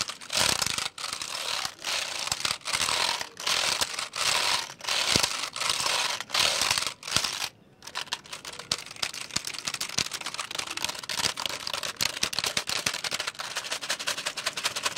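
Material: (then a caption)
Plastic. Fingertips press and tap the keys of a black plastic computer keyboard held in the air. For the first half, bright, hissy bursts of rapid clattering come in short clusters with brief pauses between them. After that the sound turns quieter, with a dense, steady stream of small, crisp key clicks.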